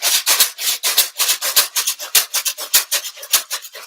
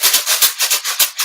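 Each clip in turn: First: carton shaker partly filled with rice. Second: carton shaker filled with more rice.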